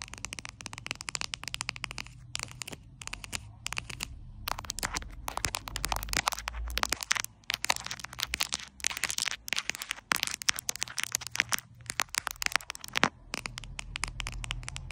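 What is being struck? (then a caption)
Glossy plastic pouch. Long blue acrylic nails tap and scratch the crinkly surface of a flat glossy plastic sticker pouch printed with a white cat cartoon, lying on a white cloth. Dense, bright crackling clicks and scratchy rustles come in rapid, overlapping bursts, with only brief pauses and a faint low hum underneath.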